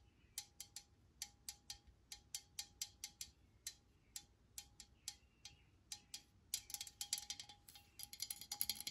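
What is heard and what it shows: Long nails tap the body and cap area of an upright metal aerosol spray can, giving short, bright metallic clicks with a faint ringing tone beneath. The taps come at a steady, spaced pace at first, then grow quicker and more clustered toward the end.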